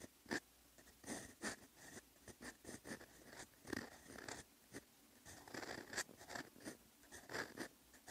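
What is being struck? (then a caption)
Lined writing paper and metal fountain pen nib. A silver metal fountain pen nib writes in brown ink on flat lined writing paper, making slow, quiet scratching handwriting strokes. The strokes come as short, dry bursts of bright scratching with brief pauses between them.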